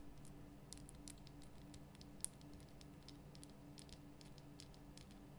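Long nails tap quickly on the top and sides of a large, lit, pink Himalayan rock-salt lamp, a solid rough crystal block. Soft, bright clicking taps patter lightly over a steady low hum, with one sharper tap standing out near the middle.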